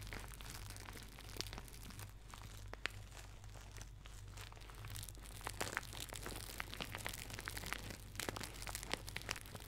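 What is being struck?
Thin plastic shower cap.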